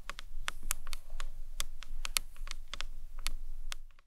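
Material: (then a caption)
Acrylic. Long nails and fingertips tap quickly on a rectangular, hard, hollow green marbled acrylic box clutch with a round clasp, which ends up turned on its side. The taps are rapid, crisp, bright clicks that stop almost instantly, over a soft low background hum.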